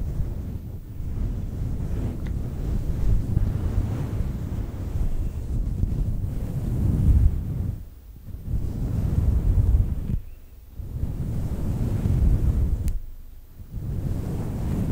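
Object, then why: Synthetic fur microphone windscreen. Long nails scratch the top and sides of a fluffy faux fur microphone windscreen, producing a dense, muffled low rumble with almost no high content. The scratching runs nearly continuously, easing off briefly in a few short dips before resuming.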